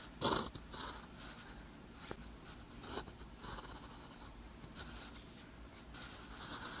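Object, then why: Paper sheet and metal pen nib. A metal pen nib scratches across a flat, thin sheet of lined white paper while writing Korean text. Soft, bright, scratchy strokes come in short bursts, with the loudest stroke near the start, over a quiet low background.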